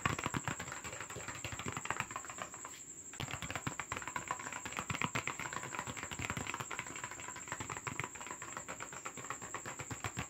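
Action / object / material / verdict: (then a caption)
tap / paper box / paper / none. Fast tapping and scratching on a paper box as an ASMR trigger, a dense, irregular stream of crisp taps and scrapes. It pauses briefly near the three-second mark, then resumes just as quickly. A faint, steady high-pitched tone runs underneath throughout.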